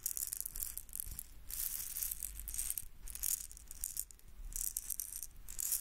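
A small red hollow plastic egg shaker filled with beads is held in one hand and shaken close to the microphone. Bursts of bright, crisp bead rattling and swishing come in uneven waves, with a soft low rumble underneath.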